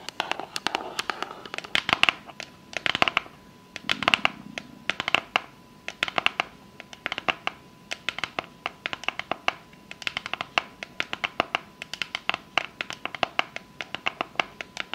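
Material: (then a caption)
Cardboard. Long fake nails tap and scratch the top of a small, rigid, hollow pink cardboard box with a unicorn print, held close. Dense runs of sharp, bright clicks mix with brief scratchy bursts, each tap dying away almost instantly. A faint steady tone hums underneath throughout.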